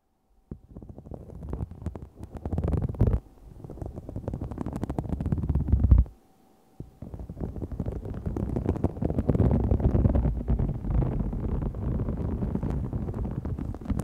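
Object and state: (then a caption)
Faux snakeskin vinyl sheet scratched and tapped. A large, thin, flexible green-gold holographic faux snakeskin vinyl sheet with a raised scale texture lies flat while both hands scratch and tap it with long fingernails. The result is dense, low, rumbling scratching and rapid crackly tapping, with a brief pause near the middle before it resumes steadily.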